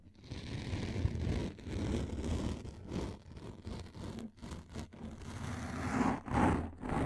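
A thin, hand-width frosted plastic sheet, held in both hands above the mic, is scratched rapidly with long lilac nails. It makes a dense, rough scratching rustle weighted toward the low end, swelling and dipping in uneven bursts about twice a second.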